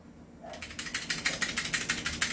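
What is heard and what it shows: A loose metal outer barrel on an airsoft rifle rattles as the rifle is shaken, giving about 11 quick, bright clacking rattles after a quiet start. The barrel is not fixed in place; fixing it is recommended as the first upgrade.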